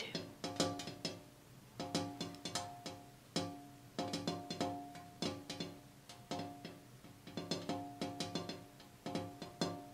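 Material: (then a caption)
Glass. A glass window pane is tapped in quick, irregular bursts of taps. Each tap gives a bright, clicky attack with a short, clear tonal ring around 530 Hz that dies away quickly.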